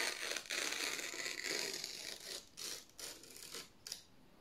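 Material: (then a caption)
Paper. Fingers slowly tear a strip from the edge of thin white printed office paper sheets held in the hands. A bright, papery rasp comes in a series of uneven tearing bursts, loud and dense at first, then shorter and softer with brief pauses between them. A final quick rip ends on near-silence.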